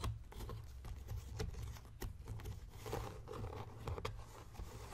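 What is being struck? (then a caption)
Leather journal cover. Fingertips and nails scratch and tap the cover of a closed blue embossed leather journal near its strap clasp. Soft, dry scratching runs throughout, broken by quick, muted taps, all over a steady low rumble. The sound stays quiet and close, with little ring after each tap.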